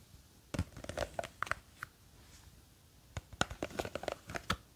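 Long green fake nails scratch and grip the sides of a small clear plastic jar with a white lid, full of blue gel beads. Quick, dry scratches and crinkly taps come in two bursts, with a short quiet gap between them. Some clicks carry a faint ringing tone around 1.4 kHz.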